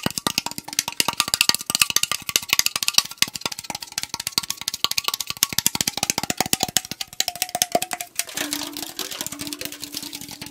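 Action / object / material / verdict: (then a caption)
tap / tall aluminum drink can / aluminum / none. Fingernails tap fast on the side and top rim of a tall AriZona green tea aluminum can held sideways, making a rapid stream of sharp, bright metallic clicks with a faint hollow ring. Near the end the tapping turns denser and softer, and a lower tone comes through.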